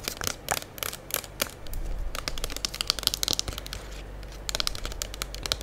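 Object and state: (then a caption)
Plastic soap pump bottle. A full gold Diva plastic liquid soap pump bottle is held in both hands while long acrylic nails tap and scratch its front and sides. Quick, bright clicking taps come in bursts, with a softer crinkly scratching stretch in the middle.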